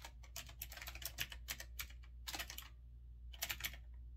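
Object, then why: Typewriter-style mechanical keyboard with round keycaps. Fingertips type on a retro typewriter-style mechanical keyboard with round backlit keycaps and a metal-look frame. Bright, sharp key clicks land in quick bursts, with a pause near the end before a last short flurry. A steady low hum sits underneath.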